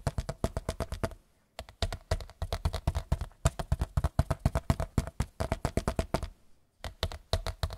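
A large white picture frame is tapped in rapid bursts of dull, low, dry knocks with almost no ring, broken by two brief pauses. There is no talking.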